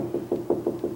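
Five knocks on the hollow-core wooden panel of a door, away from the side stile, each giving a short, hollow, low-mid thump around 350 Hz that dies away quickly. The panel sounds hollow there.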